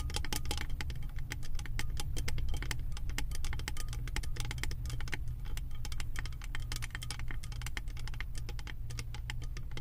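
Long white-tipped nails rapidly tap and scratch the round, embossed silver metal lid of a 3-wick candle jar. The result is a dense stream of sharp, bright clicks and short scratches over a steady low hum, with each tap dying away almost instantly.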